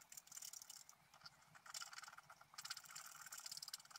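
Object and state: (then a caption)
Scratch-art paper being scratched. A pointed wooden stylus scratches the coating off a flat black wax-coated scratch-art paper sheet, about A4, held flat on a white table. It makes a dense, bright, rasping scratch in quick overlapping strokes that rise and fall in bursts. There is almost no low end.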